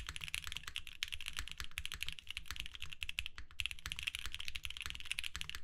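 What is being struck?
Plastic mechanical keyboard.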